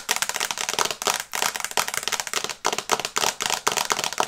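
Long nails tap quickly on the glass screen of an iPad held upright in a teal and brown plastic case. The result is dense bursts of sharp, bright clicks with almost no low end, each tap dying away almost instantly. Brief pauses break up the rapid runs.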